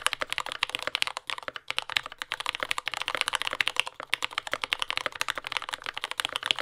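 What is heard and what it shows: A compact mechanical keyboard with dark brown plastic keycaps, lubed yellow Gateron Ink switches and a carbon fiber plate, sitting on a desk mat, is typed on continuously with the fingertips of both hands. The result is a dense, fast stream of short, crisp clacks that are bright and high with almost no low end. Each keystroke dies away instantly.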